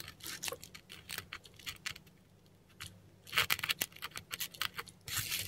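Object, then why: Textured paper sheet under a metal pen nib. A metal dip pen nib scratches German words in ink across a flat, textured Korean paper sheet. Short, bright, scratchy strokes come in quick bursts, pause for a quiet stretch around the middle, then return louder and denser toward the end.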